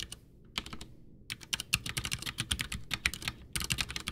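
Both hands type with their fingertips on a full-size white plastic Ducky One 2 mechanical keyboard with Cherry MX Brown switches, backlit and with a hollow case, resting on a desk. Quick, uneven bursts of sharp, bright clacks are broken by brief pauses. Each keystroke dies away almost at once, over a faint hollow low thump.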